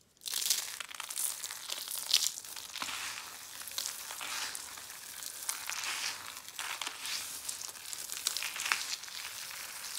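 Dried soap curls, a large pile of crushed dry flakes in pink, orange and yellow, are scooped, squeezed and crumbled with fingers and palms. The result is a dense, continuous, bright crunching and crinkling with almost no low end. Brief sharper crackles poke out of the steady rustle throughout.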